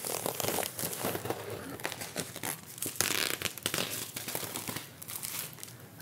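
Large thin magazine-style paper sheets, held in both hands close to the microphone, are handled, folded and crinkled with the fingertips. A dense, continuous bright crackle and rustle runs throughout, with a louder, harsher crinkling burst around the middle.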